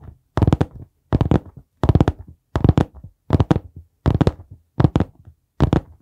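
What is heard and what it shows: Fingertips tap on the cover of a dark brown hardcover notebook held upright, making clusters of soft, dull, low thuds in quick bursts with short silent gaps between them. Each burst holds several quick taps with little ring, and the sound is mostly low with a bright edge on each touch.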